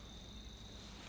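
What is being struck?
Nothing is struck.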